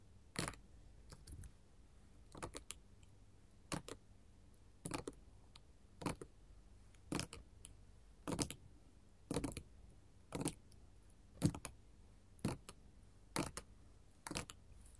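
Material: Glass.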